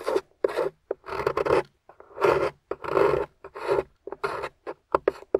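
A metal spatula with a wooden handle scrapes and carves the thick, dry beige clay or plaster crust off a solid rectangular translucent yellow glycerin soap bar resting on a table, throwing up crumbly shavings. Irregular dry, rasping scrapes come in short bursts and longer strokes, separated by brief silences.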